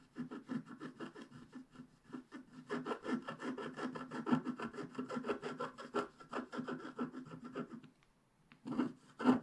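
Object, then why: Wax-coated scratch-art card scraped with a wooden stylus. A wooden stylus scrapes in fast strokes across a flat scratch-art card, a black wax coating over a colored base, working around a unicorn's legs and tail. A steady run of short, dry scratching strokes sounds with a low-mid rasp and a thin bright edge. After a brief silence near the end, a few louder final scrapes follow.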